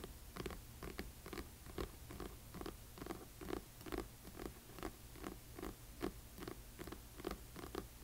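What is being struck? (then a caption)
Hardcover book with paper dust jacket. Long fingernails on both hands tap the front cover of a large, solid hardcover book with a glossy paper dust jacket lying flat on black cloth. A quiet, loosely irregular stream of quick, dull clicks with a hollow mid-low body fades almost instantly, over a steady low hum.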